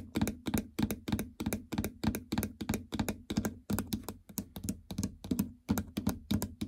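Long fingernails tap quickly on the plastic membrane keypad of a treadmill console, near the stop/enter and speed buttons, over its hollow housing. A fast, uneven run of short, dry clicks follows, each with a bright tick on top and a hollow low thunk beneath that dies away almost at once.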